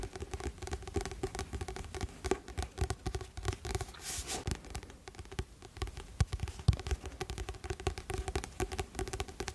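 A medium paperback novel, "Rêves de Glace," with a blue illustrated glossy card cover over a solid stack of paper, is held close to the microphone while fingertips and nails tap and scratch the cover. The result is a dense run of soft, quick taps and brushing scratches, mostly low and muffled, with occasional brighter clicks and a brief hissing scrape around the four-second mark.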